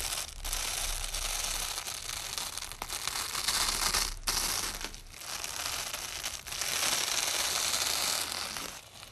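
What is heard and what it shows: A long, flat strip of white nylon hook-and-loop tape lies on a dark surface while hands in shiny black gloves press it down and peel its layers apart with the fingertips. The result is a continuous, bright, crunchy tearing sound with brief pauses between pulls, and the gloves may add some crinkle.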